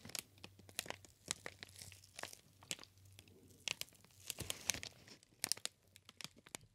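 A green inflated plastic air cushion packaging sheet is squeezed and crinkled with fingers. It makes quiet, bright crinkling and crackling with scattered sharp snaps and pops over a faint low hum.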